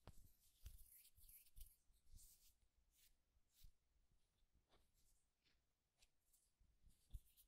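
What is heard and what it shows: Fingertips rub and lightly scratch the smooth surface of a solid, palm-sized turned wooden egg. Quiet, soft scratchy hiss with brief dull knocks.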